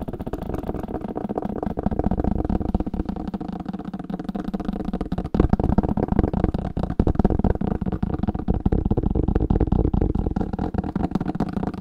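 Fingers tap rapidly on an old paper book, making a steady stream of dull, muffled thuds with almost no ring. The sound is weighted toward the low end, and the tapping grows a little louder about halfway through.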